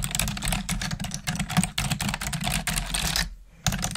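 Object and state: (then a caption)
Plastic computer keyboard being typed on. Long nails and fingertips type rapidly on the keys of a black plastic desktop keyboard, producing a stream of bright, short clicks and taps. A steady low hum runs underneath, and the typing pauses briefly near the end before resuming.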